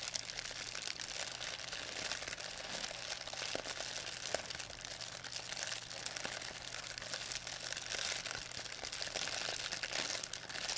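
A thin white plastic pharmacy bag with red and blue print, crumpled into a ball, is crinkled and squeezed in both hands by fingers with long painted nails. It makes a steady, dense stream of bright, crisp crackles and rustles with almost no low end, each crackle stopping instantly.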